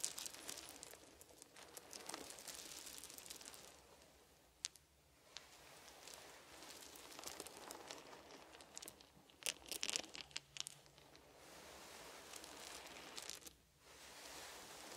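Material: Wood.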